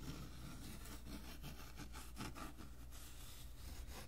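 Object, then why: Cloth-covered hardboard book cover. A flat, solid, hand-sized cover of an old band music book, made of dark brown cloth-covered hardboard, is held in both hands and rubbed and scratched across its textured surface with fingertips and short nails. The result is a steady, quiet, dry scratching made of repeated short strokes, over a constant low hum that carries most of the energy.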